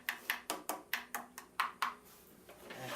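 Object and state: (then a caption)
Thin, evenly walled turned wooden hat. Ten light taps on the wall of a turned wooden cowboy hat, made after blending the cuts, give short, bright, hollow ticks pitched around 1 kHz with almost no low end and a very quick decay. The crisp tapping sound shows an evenly thin wall, judged excellent.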